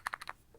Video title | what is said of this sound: Nordost QB8 - Good but Expensive | you can shake it and you can hear it